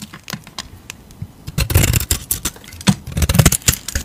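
A utility knife blade scrapes the surface off a solid square Dalan Defne laurel soap bar, which has a blue painted coating and a yellow-green core and is held in a hand. Quiet, scattered scratches in the first second and a half give way to louder, denser runs of dry shaving strokes. Each stroke is a short crisp burst with a soft low thud beneath and a bright rasp on top.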